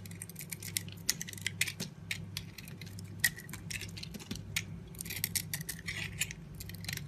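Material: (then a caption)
Soap. A utility knife blade repeatedly shaves thick white curls off a yellow-dotted solid bar of soap held in the hand. Each stroke makes a brief, bright, crisp scraping rasp, and many quick strokes come in an uneven run. A steady low hum sits underneath throughout.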